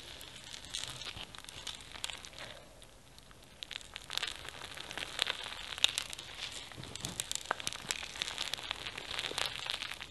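A palm-sized soft mass of pink slime packed with small foam beads and flower sequins is squeezed, kneaded and stretched by fingertips and gold-polished nails. Dense, bright, crunchy crackling pops from the beads continue throughout, with a brief quieter moment near the start before the popping grows sharper.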